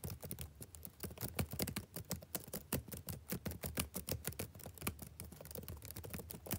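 One hand types quickly with its fingertips on a solid laptop keyboard with backlit plastic chiclet keys. A rapid, steady stream of short, soft clicking taps with a low thud in each keystroke and faint bright ticks on top. Each tap dies away almost instantly.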